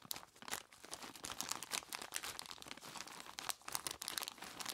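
Bare hands grip, squeeze and crinkle a large clear plastic bag, tied at the top and full of ice cubes, so the ice shifts inside. Dense, bright crinkling of plastic mixes with sharp crunching and clattering of the cubes, in quick short bursts with almost no low end.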